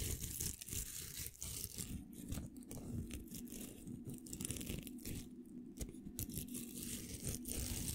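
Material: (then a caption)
Plastic. A pink hollow velcro hair roller has its hook surface scratched with fingernails, producing a continuous run of dry, crackly scratching and tearing sounds. The scratches come in uneven bursts with brief bright crackle over a low rumbling body, and the level stays fairly steady for the full clip.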